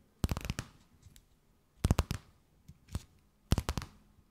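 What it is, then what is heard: Thin plastic bag. A thin, empty, clear plastic bag held between both hands is tapped, scratched and crinkled with long nails. Three bursts of sharp, crackling taps and crinkles stand out, with fainter rustles between them.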